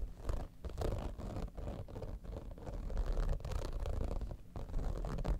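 Long nails scratch fast and slow across the top and front of a holographic vinyl cosmetic bag, an iridescent textured vinyl zippered pouch. The scratching is a dense, continuous, low-heavy rasp with short dips and almost no bright content.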